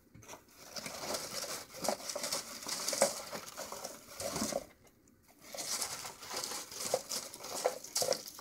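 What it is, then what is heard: Dry peanut shells. Fingers rub and crush through a pile of empty, hollow, dry peanut shell halves, making a dense, bright crinkling and crunching with sharp little snaps. The sound goes briefly quiet about halfway through, then the crushing starts again.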